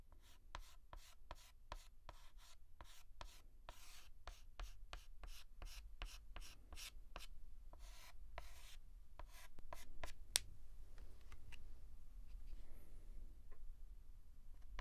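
A white chalk stick is scratched and rubbed back and forth on a large flat blackboard while shading a letter, making quick, uneven, bright scratchy strokes over a low steady hum. The dense strokes stop at about ten seconds with one sharp tick, followed by a few sparse light taps and scrapes.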